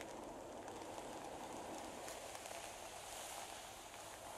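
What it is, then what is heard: Tissue paper sheet. Fingertips and long painted nails scratch and brush across a large, thin sheet of magenta tissue paper lying flat on a table. They make a steady, quiet stream of soft crinkles and papery rustling with no distinct separate hits, centered in the mids with a bright, hissy top.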